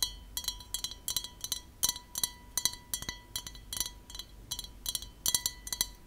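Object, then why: Glass drinking glass. Long nails tap the wall and base of an empty, clear, hollow, tall drinking glass held in the hands. The result is a quick, irregular series of bright, crisp clinks with a faint, steady glassy ring underneath. Each tap dies away almost at once.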